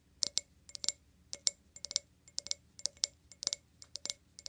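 An empty, clear glass wine glass is held upside down while its foot and stem are tapped quickly with fingernails. About twenty short, bright clicks ring out in fast, uneven bursts. Each one dies away almost at once, with no low body.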